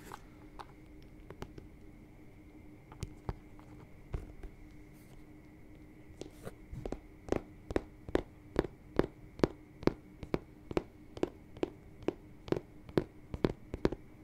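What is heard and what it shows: A single hollow, empty white smooth-leather lace-up boot in Dr. Martens style, with black laces, yellow stitching and a thick rubber sole, is held near the microphone and tapped and scratched with fingertips and nails along its leather upper. Scattered soft taps and light scratches give way to a steady, quick run of short, dry, hollow-sounding taps. A faint steady tone sits underneath throughout.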